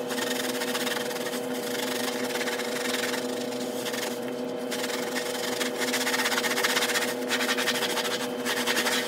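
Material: Carpet pile.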